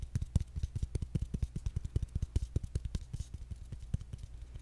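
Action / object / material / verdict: tap / engraved bamboo jar lid / bamboo / none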